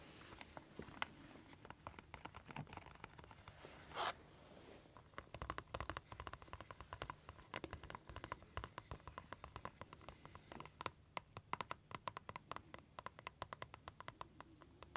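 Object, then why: Clear flexible plastic pouch with metal snaps. Long red acrylic nails tap and scratch the flat surface of a small, clear, flexible plastic envelope pouch with gold metal snap studs, held in the hands above a table and looking empty. Many quick, dry clicks and scratches scatter across the clip over a soft rustling bed, with a brief brighter scrape around the four-second mark.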